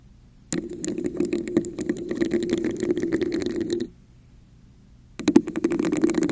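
Long nails tap and scratch the sides of a red, hollow, textured plastic cup held over a microphone. A dense run of quick clicks and rasping scrapes with a hollow, boxy mid-low resonance lasts about three seconds, stops for over a second of near silence, then starts again with a few sharper taps.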